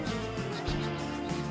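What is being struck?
Nothing is struck.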